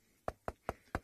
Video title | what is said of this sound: safariLIVE - Sunrise Safari - March 18, 2018 | You can hear how dry it is when I knock on it.